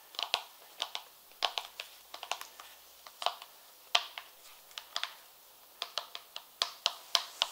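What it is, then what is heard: Leather high heel shoe tapped with fingernails. An empty, hollow purple leather high heel pump is held close and tapped quickly with long red nails on its outer side and heel. Around 25 sharp, dry clicks come in quick irregular bursts, bright with a peak near 3 kHz and no low end. Each dies away almost instantly.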